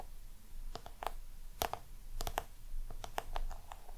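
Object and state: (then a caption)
Crocodile-embossed box tapped and scratched. Long nails scratch and tap the embossed lid and sides of a small round black crocodile-texture box held in both hands. Irregular, short dry clicks with a midrange tone around 690 Hz and bright upper edges sit over a soft, steady scratching.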